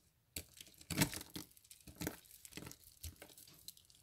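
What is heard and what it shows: Fingers squeeze and snap a small cluster of hollow, dry soap curls resting on soap flakes, crushing them. The result is a run of brittle, crunchy crackles and crinkly snaps with bright, short-lived edges. The loudest crunch comes early, and smaller crackles follow.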